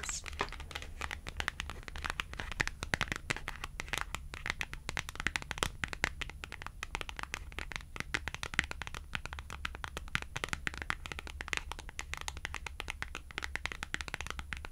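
Long acrylic nails scratch and tap along a small white and red cardstock clothing price tag held in the fingers. The result is a steady stream of rapid, dry, crisp clicks and papery scratches, bright and close, with no ringing after each tap, over a faint low hum.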